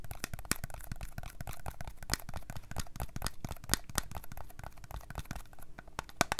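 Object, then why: Small glass bottle with plastic shrink label. Long nails scratch and tap the plastic shrink label of a small Starbucks glass coffee drink bottle that appears full and is held on its side. A steady run of crisp, dry clicks and crinkly scratching follows, with sharper taps standing out here and there and no ringing after each hit.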